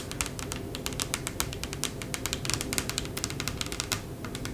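Long acrylic press-on fingernails on both hands tap rapidly across a large, solid, light wooden tabletop with a bamboo look, where a candle sits untouched. The result is a dense, irregular stream of sharp, bright clicks with very short decay over a steady low hum.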